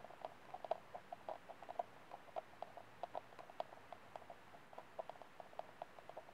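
Fingernails tap and scratch the outer wall of an empty, hollow white disposable plastic cup held by the rim. The result is a quiet, irregular run of short, dry clicks with a hollow tone around 660 Hz, each dying away almost at once, over faint scratching.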